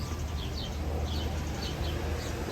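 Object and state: Nothing is struck.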